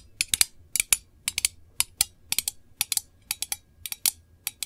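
Long nails rapidly tap the lid and textured side of a small, round, hollow printed metal candle tin held in both hands. About 22 sharp, bright ticks come in quick clusters of two to four, each dying almost at once, with nearly no low end.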